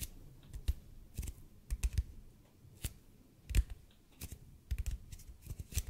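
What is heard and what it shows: A large, hollow, red-and-white EPP bead foam roller is tilted and tapped slowly with the fingertips, about fifteen times. Each tap is a soft, dull, low thud with a brief bright click on top, dying away almost at once into a quiet background.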